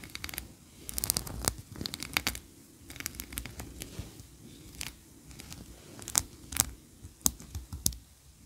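Long nails scratch and tap the tiered ridges of a solid white ribbed wax tree-shaped candle standing on a carpet. Bright, dry scratching runs through the clip, broken by sharp, clicky taps that stop instantly with no ring, over a soft low rumble.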